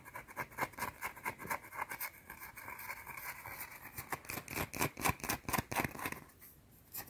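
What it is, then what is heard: Bar of soap scratched and tapped with nails. Long dark teal nails scratch and tap a small, round, flat, solid white soap bar held between fingers. Quick, irregular bursts of dry, bright scratching and crisp tapping follow each other with almost no ring. The sound fades briefly near the end before one last tap.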